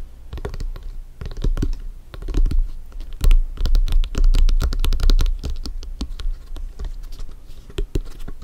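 Fingertips and nails tap and scratch the panels of a full-size blue stitched synthetic-leather soccer ball, hollow and inflated, resting on a black surface. The result is a quick, irregular patter of short, dull, hollow thumps with brief bright clicks and scratchy brushes, each dying away almost at once.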